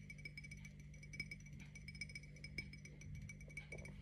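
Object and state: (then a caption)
Glass drinking tumbler. A tall, clear glass tumbler with a printed watermelon pattern, hollow and apparently empty, is held in one hand and tapped with the fingernails of the other. The taps come as a quick, irregular series of light clinks, each giving a short, bright ring near 2.3 kHz that fades quickly, over a steady low hum.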